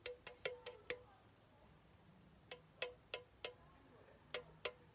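Fingertips tap a pink, hollow aluminum Chupa Chups soda can, and the can is tilted near the end to show its top. Twelve short, bright taps each carry a faint hollow tone near 500 Hz and die away almost at once. They come in three quick bursts separated by quiet pauses.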